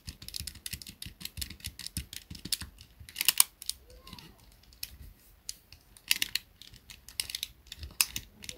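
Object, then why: Plastic pocket calculator keys. Fingers rapidly press and tap the keys of a small black plastic pocket calculator. The result is bursts of quick, dry, bright plastic clicks, with sharper louder taps around the middle and near the end. Short quiet pauses fall between the flurries, and each click dies away almost instantly.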